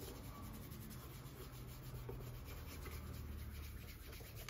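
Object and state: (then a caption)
Leather shoe being rubbed. A gloved hand rubs the polished upper of a hollow brown leather derby shoe with a white cloth while the shoe is held and set on a counter. The result is a quiet, steady, low-weighted rubbing hiss with soft cloth-on-leather friction that runs continuously throughout.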